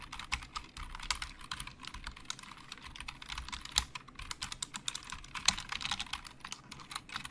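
Fingertips type and tap on a black plastic Logitech keyboard with hollow plastic keys. A steady stream of quick, bright plastic clicks with almost no ring, with a few sharper, louder taps standing out.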